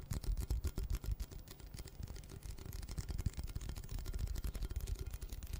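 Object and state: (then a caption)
Cardboard chip can. Fingertips and short nails tap and scratch along the printed surface of a red Pringles can, a hollow cardboard composite tube with metal ends about 25 cm long, held in both hands close to the mic. The rapid, irregular taps sound dull and hollow, with a deep low thump and very short decay, under a thin layer of faint scratching.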